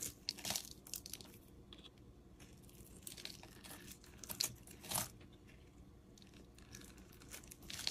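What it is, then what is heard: Bar of soap being shaved with a blade. A metal utility-knife blade scrapes and shaves thin strips off a solid cream-colored oval bar of soap held in the fingers. The quiet, bright, crisp scraping and crackling rises into several louder shaving bursts along the way, each cutting off quickly without ringing.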